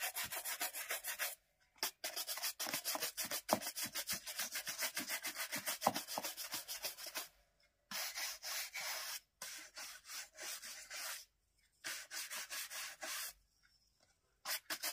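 A black leather dress shoe, worn on a foot, is brushed back and forth by hand with a wooden-backed bristle shoe brush. Around fifty quick, bright, scratchy swishing strokes come in fast runs separated by short silent pauses, with little low end.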